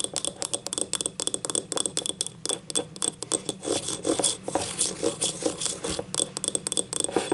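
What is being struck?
Glazed ribbed ceramic cup.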